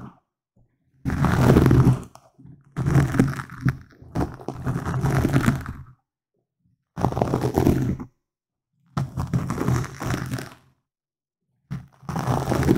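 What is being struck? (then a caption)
Foam microphone windscreen. Fingertips and nails of both hands scratch and rub a soft, hollow black foam windscreen on a microphone. The result is deep, muffled, rumbling scratching in six separate bursts, split by short silences and heavy in low end.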